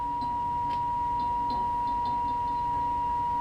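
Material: Nothing is struck.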